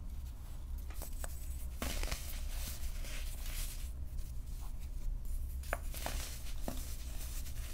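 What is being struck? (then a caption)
Dried baking soda balls. Small, solid, purple-dyed dried baking soda balls and crumbled powder in a clear glass bowl are crushed and squeezed between fingertips with short painted nails. Quiet, dry crunches and crackles snap out over a steady low hum, each one short with almost no ring.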